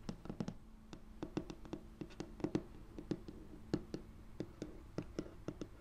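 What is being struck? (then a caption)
Laminate tabletop. Fingertips with short painted nails and rings tap and scratch across a large, flat, solid light wood-grain laminate tabletop with a foam-covered mic lying on it. Quick, dry taps with almost no ring come in an irregular rhythm over a faint steady hum.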